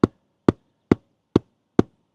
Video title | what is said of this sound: How To Install Solar Roof Anchors - 100% Success Guaranteed! | Okay, so this is more hollow over here.